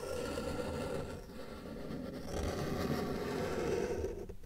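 A felt-tip marker tip is drawn across a flat white paper sheet on a table, with a hand resting on the paper, as the head and trunk of an elephant are sketched. The result is a steady, low scratching and rubbing with a slight dip in loudness partway through.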